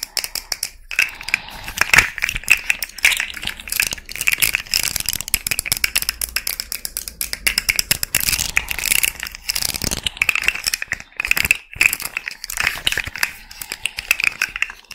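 A small rainbow fidget slug toy made of hollow, jointed plastic segments is held near the mic, tapped and scratched with long red nails, and bent so its segments click. The result is a steady stream of crisp, bright plastic clicks and scratchy taps with a tone around 2.3 kHz. Each click dies away almost instantly, with almost no low end.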